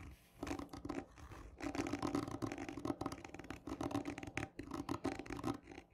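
Long nails scratch hard and slowly with both hands across a textured, hollow cardboard tube lying on its side. Dense bursts of rough, raspy scratching rise and fall continuously, carrying a hollow, boxy resonance from the tube in the low-mid range with little high-end brightness.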